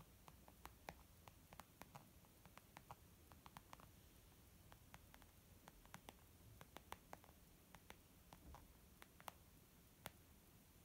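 Fingernails and fingertips tap near the lower edge of a white textured leather zip pouch used as a makeup bag. A quiet, irregular run of short, dry clicks and soft pats, each dying away almost instantly, sits over a low rumbling hiss.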